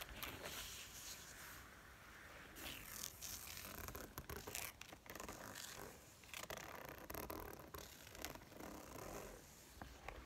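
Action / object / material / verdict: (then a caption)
scrape / quilted faux leather zip wallet / faux leather / none. Fingernails and fingertips tap and scratch the padded top of a pink-beige quilted faux leather zip-around wallet with a metal zipper, lying flat on a table. The sound is a quiet, continuous run of crisp, dry scratches broken by soft, short taps.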